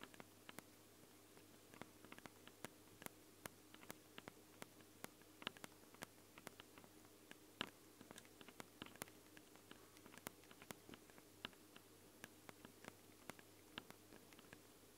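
Long blue nails tap and scratch directly on the two X-Y microphone capsules of a Tascam handheld recorder, which have ridged metal grilles, red rings and a small, hollow black plastic body. The result is a rapid, irregular stream of dozens of sharp, dry clicks with no ring, over faint scratching and a low, steady hum.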